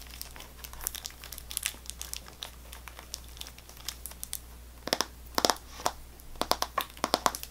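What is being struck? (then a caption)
Cardboard gum box in plastic film. A sealed cardboard Extra gum box wrapped in cellophane plastic film is rubbed and scratched with fingertips and nails, producing quiet, crisp crinkling. Sharp, bright crackles come in irregular bursts, growing denser and louder toward the end over a steady low hum.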